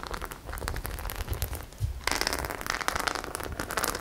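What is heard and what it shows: Long nails scratch and rub the studs of a flat white studded faux leather clutch bag, making dense, crackling scrapes with low rumble underneath. Partway through, the scratching turns brighter and busier, with quick clicks over the steady rasp.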